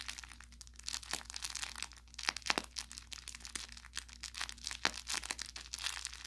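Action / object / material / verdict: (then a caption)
scrape / plush fabric toy with crinkle filling / crinkle film / none. An orange velour plush carrot cat toy with crinkle filling is squeezed and pressed with the thumb and fingers. It gives dense, bright crinkling crackles and sharp pops throughout, over a faint steady low hum.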